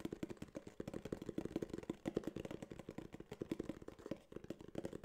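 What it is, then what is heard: Cardboard box. A small, hollow tan kraft cardboard case, held upright, is tapped rapidly with fingertips and nails. The result is a quiet, continuous run of short, dry, hollow taps centered around 344 Hz, each dying away almost instantly, with little bright content.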